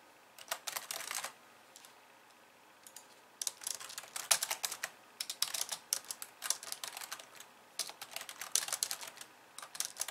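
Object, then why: Plastic computer keyboard. Long painted nails on both hands type and tap the white keys of a hollow, pink-framed plastic computer keyboard resting on a wooden desk. Bursts of bright, crisp clicks and tapping come in quick clusters, with a quiet pause early on before more sustained typing. The sound is light and thin, with almost no low end.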